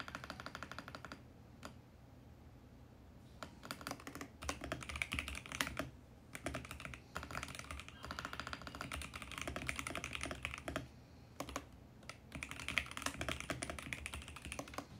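Fast fingertip typing on a compact VGN X68 mechanical keyboard with purple and teal plastic keycaps and a mint case. Bursts of crisp, bright clacking, centred around 2.2 kHz, are broken by short pauses. Each keystroke is sharp with almost no ring.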